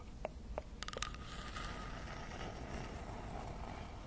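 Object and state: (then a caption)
Wooden log slice. Long acrylic nails tap a round slice of solid tree trunk with a bark edge, held upright in front of a fluffy microphone. Four short, sharp clicks ring out in quick succession, followed by a soft, steady scratching across the cut face over a low background rumble.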